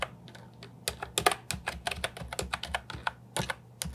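A compact Ajazz 308I plastic keyboard with round, typewriter-style plastic keycaps is typed on continuously with the fingertips. Rapid, short, bright clicks and clacks fall in an uneven rhythm over a faint low hum, and each keystroke dies away almost instantly.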